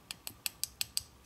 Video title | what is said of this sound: 💖 How I Build My Nails ~ Quick & Easy ~ Gel & Dip Powder 💖 | they definitely sound like acrylic or gel nails